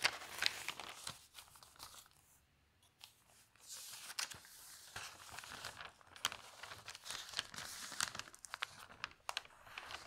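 An open newsprint newspaper lies on a table while hands turn its thin pages and rub them flat with fingertips and long nails. Bright, crisp rustling and crinkling comes in irregular bursts, with sharp crackles and short swishes, then a quieter pause near the middle before the rustling resumes.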